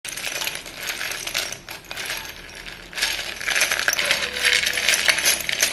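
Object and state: Chalk sticks clinking.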